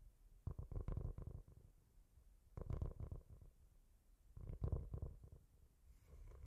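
A solid, roughly A5-sized flat book or board with a brown speckled cork cover is held in both hands and scratched and tapped with fingertips and nails. Three separate bursts of quick, soft, low, muffled tapping and rubbing are heard, each followed by quiet. An echo effect is added.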